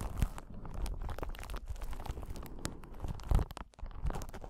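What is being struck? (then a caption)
Clear glass or acrylic crystal ball. A clear, solid, palm-sized crystal ball of glass or possibly acrylic is held in both hands and scratched with long pointed nails. The result is a slow, close series of soft scratching and crinkly ticks over a low, muffled rumble, with a few louder taps standing out.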